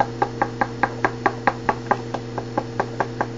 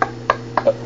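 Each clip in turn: First: Steady run of short, dry knocks on a composite hockey shaft, hinting at something loose inside. Second: Four quick, dry knocks around 1 kHz on a composite hockey shaft that now sounds firm.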